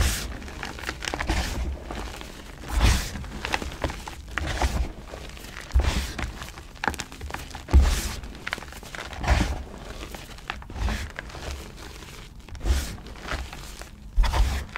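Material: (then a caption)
Chalk. Dry crushed blue gym chalk (magnesium carbonate), a loose pile of chunks and powder, is squeezed and rubbed between fingers and palms by both hands with long painted nails. Soft crumbling and gritty crunching rise in irregular bursts over a low, dull thudding background. The chalk crumbles into finer pieces and powder.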